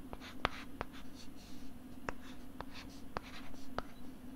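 A stylus writes on a flat pink plastic LCD writing tablet held close to the microphone, making soft, scratchy strokes. Short, sharp clicks of the stylus tip stand out over a low, steady background hum.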